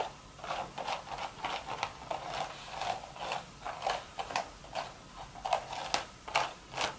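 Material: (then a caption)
Straw. Super sharp long red nails scratch and tap the top of a hollow, empty woven straw hat crown. About twelve short, dry rasping bursts come in an uneven rhythm, each a crisp scrape centered in the upper mids with a bright, papery edge. The bursts die away almost instantly, with little low end.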